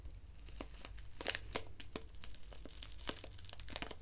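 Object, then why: Foil-lined paper tea sachet. A small, flat foil-lined paper sachet of black Assam Breakfast tea is crinkled and scratched with long nails, possibly torn at the edge. Quiet, dense crinkling is dotted with sharp, bright crackles and clicks that stop almost instantly, over a steady low rumble.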